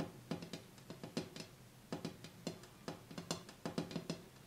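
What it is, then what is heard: Glass coffee table top, tapped. Fingers tap on the bare glass top of a coffee table, cleared of the items that sat on it, to hear whether the sound changes. A quick series of short, dull knocks with a low tone around 168 Hz, each dying away almost at once.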